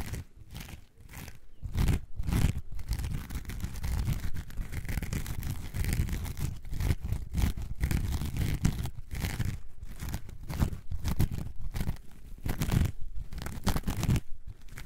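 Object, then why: Coarse foam sponge. A coarse orange foam sponge, held in both hands, is scratched with long nails. It makes a steady, deep, crunchy rasping in rapid strokes with brief pauses between bursts. The sound sits almost entirely in the low end with very little high content.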